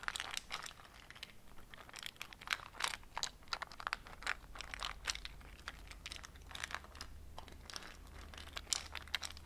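A small transparent plastic cube box, nearly full of small round dark beads or seeds, is held in fingers with long painted nails and tapped and shaken so the contents rattle. Quiet, dry, bright clicks and crinkly rattling bursts come in quick irregular clusters, with no ring after each one, over a faint steady low hum.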